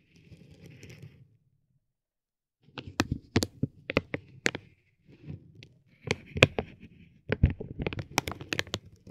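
A metal ball-tipped stick taps and rubs a soft, clear vinyl plastic bag wrapped around a tape roll resting on a gold plate. Soft, low rustling gives way after a short silence to a run of sharp, crisp taps and bright crinkles. The taps grow denser and louder toward the end.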